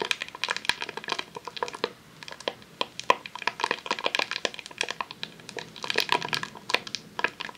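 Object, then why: Rolled vinyl sheet in a plastic sleeve. A long roll of vinyl adhesive sheet in a clear plastic sleeve, resting on a tablecloth, is scratched and tapped with long nails. Dense, crisp crinkling mixes with sharp, bright clicks and taps that die away instantly, with almost no low end. The texture eases briefly around two seconds before the scratching picks up again.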